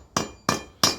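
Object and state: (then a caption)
Solid concrete floor slab after void filling. Three sharp, bright taps on a concrete shop floor slab after foam was injected to fill the voids underneath, each with a short clicky ring that dies quickly. The slab no longer sounds hollow and reads as solidly supported.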